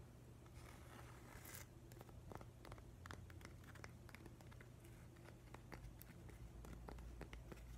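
Fingernails tap and scratch along the rough grain of a long, narrow, grey, solid piece of weathered driftwood held upright. Quiet, dry clicks and short scratchy strokes come in an irregular run over a steady low hum, with a longer, brighter rasp early on.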